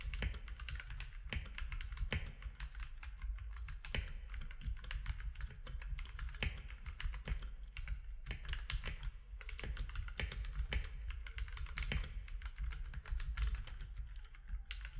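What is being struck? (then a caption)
Mechanical keyboard with plastic keycaps. Both hands type with their fingertips on a compact mechanical keyboard with plastic keycaps, producing a steady stream of sharp, clicky keystrokes that flicker with bright clatter. Underneath sits a constant low rumble. The key presses run together too quickly to count individually.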